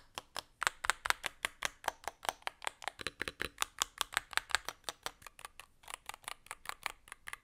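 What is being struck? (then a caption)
Aluminum-case mechanical keyboard with plastic keycaps. A Varmilo Muse65 65% mechanical keyboard with a blue aluminum case, plastic keycaps and magnetic switches is typed on with the gloved fingertips of both hands. The result is a steady run of about 38 crisp, short clacks with bright, clicky highs and almost no low end, each stroke dying away almost instantly.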